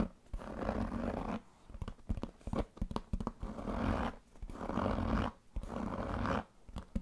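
A large black pebbled leather handbag with a metal buckle has its surface scratched with fingernails and rubbed with fingertips. Long, dull, raspy scratching strokes alternate with short bursts of soft ticking and tapping. The sound is muffled and mostly low-to-mid, with almost no bright top end.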